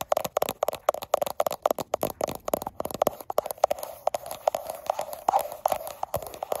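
Long acrylic nails with black tips rapidly tap and scratch the frosted glass back of a gold iPhone with a steel frame, held in one hand while it records itself. Dense, sharp clicking taps with a hollow midrange tone come in quick irregular bursts, broken by softer scratchy rasps, each tap dying away almost instantly.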